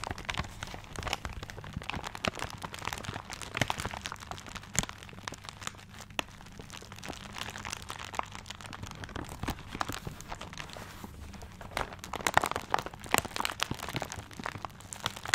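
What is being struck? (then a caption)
Gift wrapped in paper. Fingertips scratch and tap the wrapping paper of a paper-wrapped gift, producing a dense stream of crisp crinkles, crackles and short sharp taps. A faint steady low hum runs underneath, and the scratching swells into louder, brighter bursts near the end.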